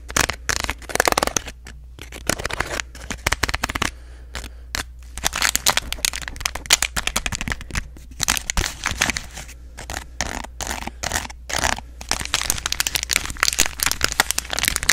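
A small, apparently full M&M's plastic-foil candy packet is crinkled, scratched and tapped with long nails. Dense bursts of bright, crackly rustling and sharp clicks follow one another with short pauses, over a steady low hum.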